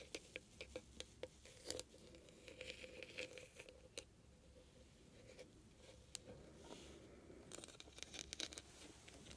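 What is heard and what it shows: Long painted nails scratch and tap quickly on a small, hollow, heart-shaped metal trinket box with glittery mesh sides and a bead-studded lid. Sharp, bright clicks and taps sit over a soft, hissy scratching texture, with a faint metallic ring around 500 Hz. The whole clip stays quiet and close.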